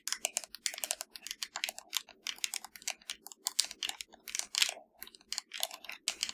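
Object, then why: Plastic game controller shell. Long nails tap and scratch along the hollow top edge of a black plastic PS4 controller, making a fast, uneven run of crisp, bright clicks and short scrapes with almost no low end. Each stroke dies away instantly, keeping the sound dry and close.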